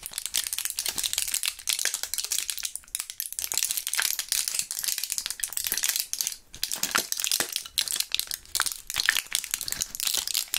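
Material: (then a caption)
Plastic. Gloved fingertips squeeze and press the blisters of a small clear plastic blister pack of gum with foil backing, some purple gum pellets still inside. Dense, bright crinkling and sharp crackles run continuously with brief pauses, almost no low end, and each snap dies away instantly.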